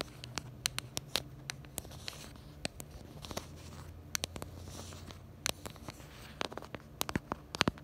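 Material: Plastic.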